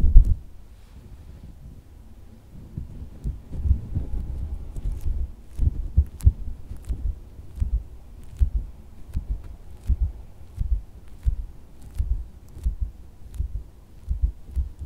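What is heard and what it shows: A pink, hand-sized, solid soft silicone squishy dog toy is tapped and patted with fingertips and nails while resting in the palm and on fabric. Soft, dull, low thumps come in a steady rhythm and die away almost instantly, with faint bright clicks from the nails. The thumps sit over a quiet, low background.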